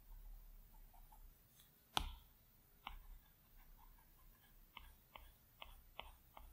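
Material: Glass.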